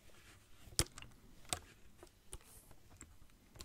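Fingertips tap and squeeze a partly filled clear plastic water bottle held close to the mic. Five short, sharp, bright taps stand out at uneven intervals, each dying away almost instantly. Faint crinkly clicks and a low rumble run underneath.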